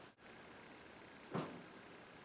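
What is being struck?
Nothing is struck.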